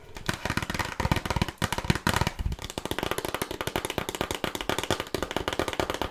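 Long nails tap and scratch a small, closed, red printed cardboard box of burger cookies, which sounds hollow with its contents inside. A rapid, steady stream of dry, clicky taps lands with hollow low thumps, each dying away almost at once, over a bright, papery scratching texture.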